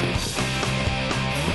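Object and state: Nothing is struck.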